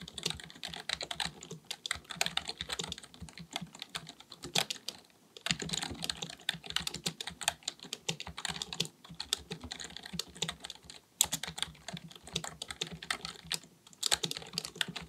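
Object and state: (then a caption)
Plastic computer keyboard being typed on. Both hands type continuously with their fingertips on a black, full-size plastic keyboard resting on a desk, likely mechanical with a hollow body. Rapid, bright, clicky key taps dominate with little low end. Short pauses break the typing near the five-second mark and again around eleven seconds.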